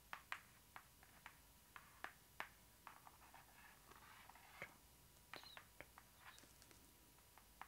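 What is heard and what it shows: Long acrylic nails tap and scratch across the front cover of a large hardcover book lying flat, a glossy printed cardboard board with embossed gold lettering. Sharp, quiet clicks stand out over a soft scraping rustle, each tap dying away almost at once, with bright, dry tones and no low thud.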